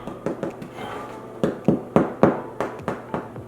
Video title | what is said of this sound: How to Make WILD YEAST BREAD | when you tap it all over and it sounds hard and hollow